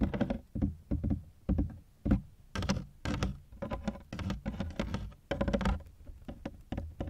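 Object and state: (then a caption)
Hard plastic suitcase. Fingertips patter in quick bursts on the ribbed sides of a large, hollow, black hard-shell plastic suitcase that is partly unzipped, heard from inside the case. The taps land as short, dull, boomy thumps, mostly low in pitch, and each dies away almost at once.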